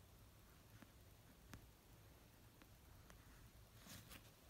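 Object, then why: Paperback book, nails on a paper cover. Long nails slowly tap the cover of an orange paperback novel resting on a blanket. A few soft, sparse taps with brief bright clicks sit over a quiet, low background hum, with a slightly busier pair of taps near the end.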